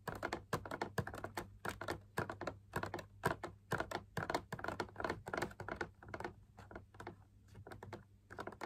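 Fingertips and nails tap rapidly and irregularly on the inside wall of a hollow, perforated drum lamp shade made of fabric laminated onto a stiff backing. Each tap is a quick, dry, papery click with almost no ring, layered over a faint steady low hum.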